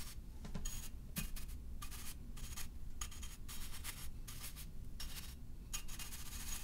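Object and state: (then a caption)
Ceramic vase brushed. A tall, hollow black-and-white striped ceramic vase is held tilted in one hand while a flat bristle paint brush is swept repeatedly along its side. The brush strokes come as a steady run of soft, bright, airy swishes over a constant low background rumble.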